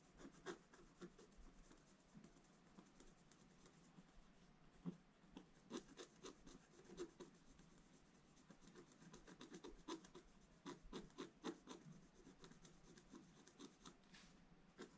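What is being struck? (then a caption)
Black-coated scratch-art paper scratched with a wooden stylus. A wooden stylus held almost flat scratches across a black-coated scratch-art paper page in a bound book. Quiet, dry scratching strokes come in an irregular run, with short rasping bursts and brief sharp ticks over a soft, steady hiss.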